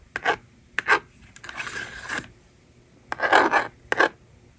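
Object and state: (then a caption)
Plastic magnetic drawing board. A handheld plastic toy magnetic drawing board: its plastic eraser slider clicks and slides with sharp ticks and bursts of rasping scrape, and the stylus writes numbers with a scratchy rub. Short quiet pauses separate the strokes.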